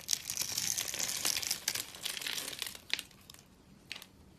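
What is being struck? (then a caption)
Bar of soap cut with a metal blade. A metal knife cuts and scrapes a solid, hand-held bar of dry purple soap pre-scored into a grid, so small cubes crumble off. Dense, bright crunching and crinkling scrapes fill the first three seconds, then fade to a few sharp, isolated cracks.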